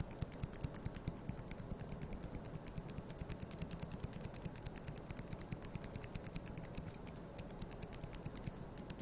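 Thin, solid wooden toothpicks are held between the fingers and scratched and flicked against each other with long yellow nails. The result is a rapid, uneven run of tiny, dry clicks and scratches with no ring, over a low, steady hum.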